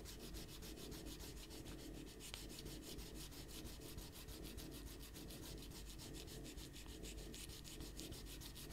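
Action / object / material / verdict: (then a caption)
scrape / rubber eraser on paper sheets / paper / none. A small rubber eraser is rubbed quickly back and forth across a pencil drawing on a stack of thin white paper on a white table, while the other hand presses the sheets down. The result is a quiet, steady, papery scratching made of rapid, even strokes with a bright hiss over a low, soft rumble.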